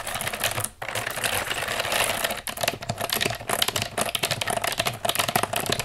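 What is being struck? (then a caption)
Plastic computer keyboard. Long nails tap and scratch the keys of a black plastic computer keyboard lying on a table. A fast, dense stream of bright plastic clicks and scratchy rasps runs almost without break, pausing only briefly near 0.8 and 2.5 seconds.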